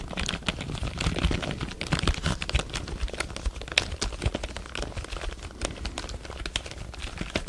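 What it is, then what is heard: Plastic computer keyboard. A full-size black plastic computer keyboard is held upright near the microphone while fingertips tap and press its plastic keys. The result is a rapid, uneven stream of short, dry clicks and clacks with brief bright edges over a soft low thump, each sound dying away almost at once.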